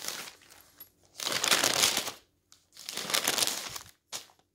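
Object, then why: Newsprint newspaper pages. A hand wearing rings and a bracelet lifts and turns the thin pages of a large open newsprint newspaper lying flat on a table. The paper gives bright, papery rustling and crinkling in two long swelling bursts, with softer rustles before and a short crinkle at the end.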